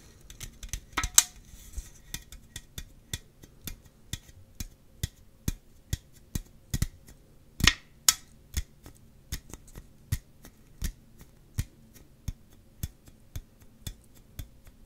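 An upright aluminum drink can, its metal end facing close up, is tapped and scratched on that end with fingernails. The sharp, bright clicks come quickly at first, slow to an even pace, then two louder scratchy strokes break in before the steady taps continue. Each tick dies away almost instantly.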